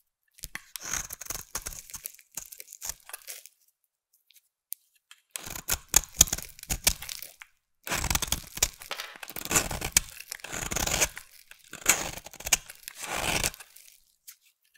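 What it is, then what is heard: Bar of soap being shaved with a blade. A solid green bar of soap held in the hand is shaved with a utility knife blade. Bursts of dry, crisp scraping and crackling come in several runs separated by short silences, mostly bright and high.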